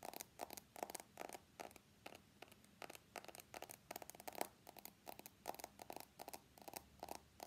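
Fingernails tap and scratch along the stainless steel edges of an iPhone X with a glass body, held in both hands. A rapid series of short, dry clicks and scrapes sounds close up, each fading almost instantly. The bursts are bright and thin with almost no low end.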